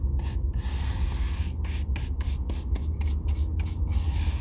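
A hollow Red Wing Weekender Chukka boot of oiled leather is held in hand and brushed with a bristle shoe brush. Quick back-and-forth strokes make bright, scratchy swishes over a steady low rumble throughout.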